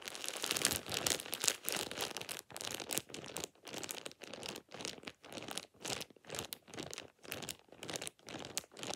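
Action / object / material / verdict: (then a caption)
scrape / thin plastic shower cap / plastic / none. A thin light-green plastic shower cap is balled up and crumpled with fingertips and nails. It makes dense, bright crinkling and crackling in a steady series of short bursts separated by brief pauses, with almost no low end.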